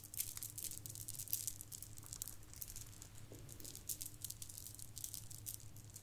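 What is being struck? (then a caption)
Plastic bead garland. Several strands of shiny gold plastic bead garland hang from one hand and are shaken while the other hand's fingertips brush through them. The result is a quiet, steady, bright rattling and clicking patter of many small bead contacts over a low, constant hum.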